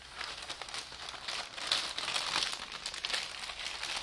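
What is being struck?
Thin tissue wrapping paper.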